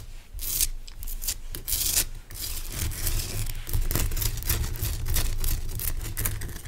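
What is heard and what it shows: Fingernails scratch and rub the sides and top of a large, pale rock salt lamp made of solid, rough crystal. Bright, gritty scraping bursts come in quick, uneven strokes over a steady low hum.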